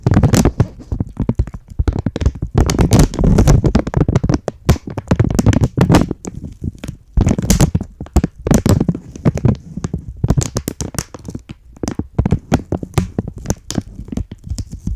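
A thin, empty, flexible green-and-white printed plastic packaging bag is held in both hands close to the mic and crinkled and scratched with long polished nails. Dense bursts of crinkling and crackling run through the whole clip, with short pauses and a heavy low-end thump from the close handling.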